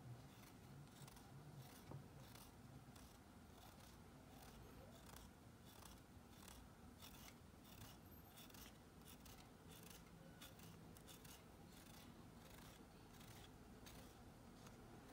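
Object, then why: Bar of soap scraped with a nail file. A thin pink stick, likely a nail file, is drawn repeatedly across the ridged edge of a solid white, palm-sized Dial bar soap held in a blue-gloved hand. Quiet, dry rasping strokes repeat steadily with bright, scratchy bursts over a low, constant rumble. The scraping does not cleanly shave the soap, and the attempt fails.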